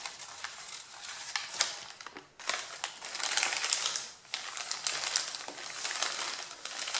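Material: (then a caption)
Paper. A stack of thin, crumpled, white printed pattern paper has its top sheets rubbed, pressed and crinkled by flat hands and fingertips. The result is a continuous, bright crinkling and rustling full of sharp crackles, with almost no low end and brief quieter dips between bursts of handling.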